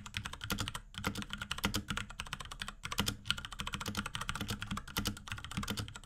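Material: Plastic.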